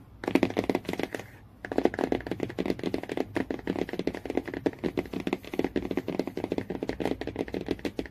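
Fingernails tap and scratch rapidly on the cardboard cover of a hardcover book near the spine, making a dense run of short, dry clicks with a brief pause early on. The taps are crisp with almost no ring, centred in the low-mid range with a little scratchy brightness on top.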